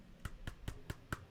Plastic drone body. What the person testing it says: I would think that it feels kind of empty inside